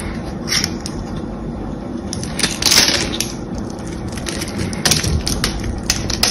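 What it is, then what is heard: Bar of soap being cut and scraped. A solid beige bar of soap with a scored diamond pattern is cut and scraped with a small blade, lifting flakes and chunks. Soft crunchy scraping and crisp, bright snapping clicks come at irregular intervals over a steady low rumble.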